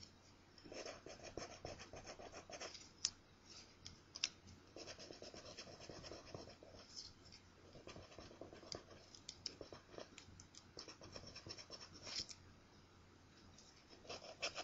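A coin held in the fingertips scratches the crossword coating off a thin, flat paper scratch-off lottery ticket. Bright, gritty scraping comes in repeated bursts of quick strokes separated by short pauses, over a faint steady low hum.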